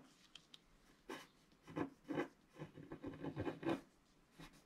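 A wooden stylus scratches lines across the right side of a flat scratch-art card of black wax-coated paper while the other hand presses the sheet down. Short dry rasping strokes come in a quick irregular series, each a brief scrape with a soft midrange body and a faint bright edge, over a quiet background.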